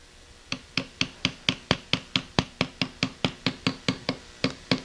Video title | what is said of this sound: SBC 350 Cylinder Head Machining Part 2 – Stud Conversion, Port Matching & Spring Setup | You can almost hear the dead sound when they hit bottom